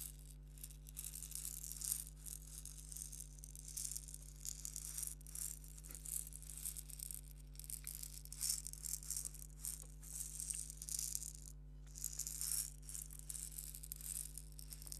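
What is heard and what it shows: A small purple hollow plastic egg shaker filled with grains is shaken and rolled in the fingers. It makes soft, bright, hissing rattles that swell and fade in irregular bursts over a steady low hum. A brief near-silent gap comes near the end before the rattling resumes.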